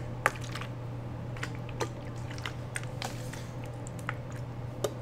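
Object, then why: Plastic water bottle partly filled with water. A clear plastic water bottle, partly full of water with the cap on, is tilted and shaken by hand so the water sloshes inside. Soft, short liquid splashes and drips come at irregular moments over a steady low hum.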